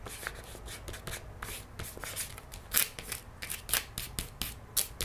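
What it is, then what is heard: Paper gift bag. Long nails tap and trace across the printed surface of an empty paper gift bag lying flat on a wooden table. The result is a steady stream of crisp, bright scratching and rustling, broken by short, dry taps with almost no ring.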